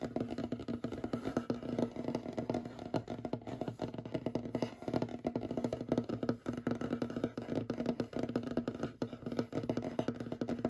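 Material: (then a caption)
Wood. Short fingernails of both hands tap and scratch quickly across a large, solid, light wooden tabletop. It makes a dense, continuous patter of dry, woody clicks with a warm low-mid tone around 250 Hz. Each tap dies away almost instantly, with little bright content.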